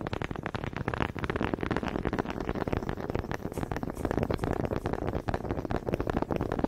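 Two small, solid wooden honey dippers with grooved heads, held in both hands with long red nails, are knocked together in front of a microphone. The result is a rapid, uneven stream of short, dry wooden clicks and taps with a low, woody body and almost no ring.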